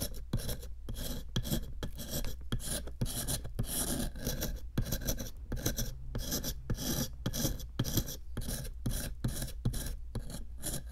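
A small metal chisel held in long-nailed fingers repeatedly scrapes a small solid pink plaster excavation block sitting in a clear plastic tray. Quick, dry rasping strokes follow one another in a steady rhythm over a constant low hum, with no ringing after each stroke.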